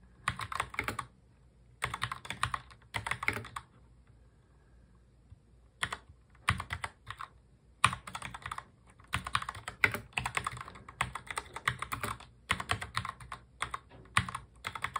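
Both hands type continuously with their fingertips on a full-size black mechanical keyboard with plastic keycaps. Bursts of rapid, crisp, bright clicks and clacks are broken by short pauses, including a longer quiet gap early on. The keys then resume in dense, steady runs.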